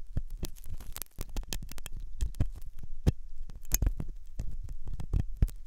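A metal dental pick scrapes inside the hollow ear canal of a white, soft silicone ear on a binaural microphone. Close, dense scratching and crackling comes in rapid irregular bursts with deep, low thumps and brief bright ticks. Each sound stops abruptly with no ring.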